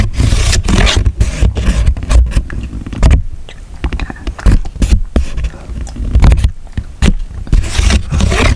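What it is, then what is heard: Cardboard flap with punched-out discs. Fingertips press and poke the circular discs out of a thin grey cardboard flap with punched holes, one after another. The result is a rapid series of dull, bassy thumps and short papery pops. Brief bright scraping rustles run between them.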